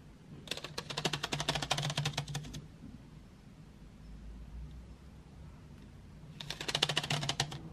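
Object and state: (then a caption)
Wooden pencils in a metal tin. Long white fingernails tap and flick painted wooden graphite pencils lying in an open metal tin tray. Two bursts of quick, bright, dry clicks with very short decay are separated by a quieter stretch of low background hum in the middle.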